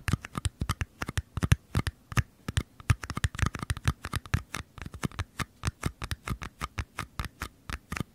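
Short nails and fingertips tap and scratch the walls of two identical small, empty, hollow white paper cups, one held on each side of the microphone. About 49 quick, dry taps come in an uneven, brisk rhythm, each a soft low thump with a papery click on top. Every tap dies away almost instantly with no ring.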